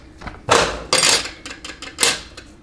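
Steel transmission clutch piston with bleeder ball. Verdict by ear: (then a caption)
Free. A transmission clutch piston from a 200-4R forward or direct drum is shaken to check its bleeder ball, giving a run of bright, short metallic rattles and clicks. The ball moves freely and makes noise, so the bleeder works.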